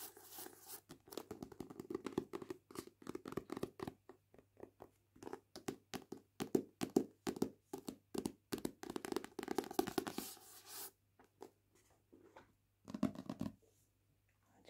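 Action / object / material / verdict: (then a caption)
tap / paperback book with matte card cover / card / none. A Heartstopper paperback book with a matte card cover is held in hand while its spine and card cover are tapped and scratched with long painted nails. Quick, dry, close-up taps and scratchy strokes come in dense bursts, with a soft low-mid body and brief bright edges. The bursts thin out toward the end into short, scattered scratches.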